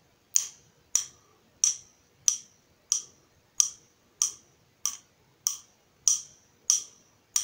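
A hand-held nut driver with a long steel shaft and yellow plastic handle is tapped on its shaft by the steel shaft of a second nut driver, twelve times at a steady pace. Each tap is a short, bright metallic tick with a high ring that fades quickly, leaving near silence between hits.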